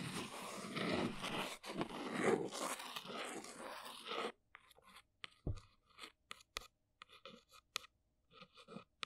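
Long nails trace and scratch the printed front face of a small brown cardboard box standing upright. A dense, continuous rasping scrape fills the first four seconds, then breaks into sparse, short scratchy ticks and taps separated by near silence.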